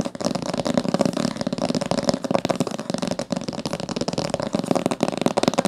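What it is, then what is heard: Hardcover book. Long nails tap rapidly across the top of a thick, solid blue-green hardcover book with a coated board cover and a gilt-decorated spine, lying closed on a table. The result is a fast, continuous stream of dry, clicky taps with a hollow midrange tone around 560 Hz, each tap dying away almost instantly.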